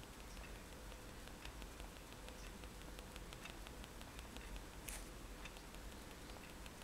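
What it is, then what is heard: Pen stippling on a paper sheet. The metal tip of a fine-liner pen taps repeatedly on a white paper page of a spiral sketchbook lying flat on a table, stippling dots. Faint, short, bright ticks come in a steady patter over a low background rumble, with one slightly louder tap near the end.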